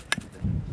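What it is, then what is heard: Iron-rich lava rock with a metallic clink. A piece of iron-rich volcanic lava rock from Mount Etna is knocked twice, giving a short, bright metallic clink with a brief high ring, followed by a softer second tap. A low, steady rumble rises in the background afterward.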